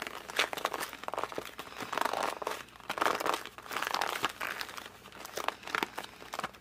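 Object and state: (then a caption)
Cardboard puzzle box. A closed cardboard puzzle box is held in both hands and gripped and squeezed with the fingers and thumbs. This produces a steady run of dry crinkling and crunching, with short bursts of rough, mid-toned friction rising and falling in waves. The quick crackling snaps die away almost instantly.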